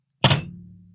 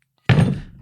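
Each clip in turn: First: one-pound silver piece, heavy thump. Second: heavy metal weight plate, deep thud.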